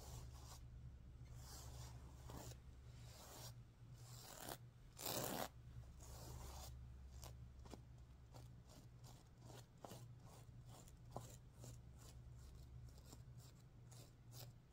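A hand sweeps across a stuffed sequin pillow while nails scratch the sequins, flipping their color. Repeated bright, scratchy, zipper-like swishes come in short strokes, with one louder, fuller sweep near the middle. A steady low hum runs underneath throughout.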